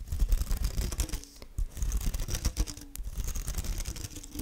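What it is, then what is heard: Badminton racket strings scratched and plucked. Long nails scratch and pluck the synthetic strings of a badminton racket head held close in front of the microphone. There is a dense run of quick, dry scratches and soft plucks with brief, faint twangs of the strung net. The sound is heavy in the low end with a little high hiss, and each pluck dies away almost at once.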